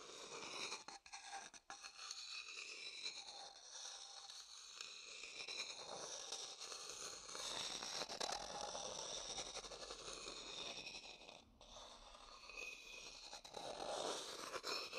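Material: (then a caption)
Wood. A wooden stick taps and scrapes the inside of a medium, hollow, empty, dark polished wooden bowl. The result is a steady, bright, dry scraping texture with a quick, irregular patter of light taps and almost no low-end.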